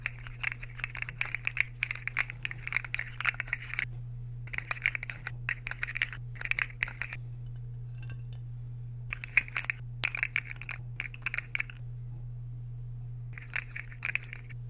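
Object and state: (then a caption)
Ceramic plate scraped and tapped with a metal fork. A metal fork is scraped along and tapped on a solid, empty white square ceramic plate held in the hand. The result is bursts of bright, dry clinks and scratchy scraping separated by short pauses, over a steady low hum.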